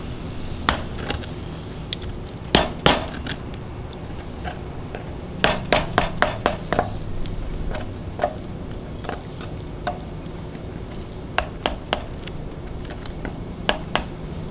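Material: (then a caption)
Wood. A gloved hand chops and scrapes the bare wood of a large, solid log, its bark mostly removed, with a steel chisel. Sharp, bright strikes ring briefly, scattered irregularly through the clip, some in quick clusters. Between them a steady low rumble continues.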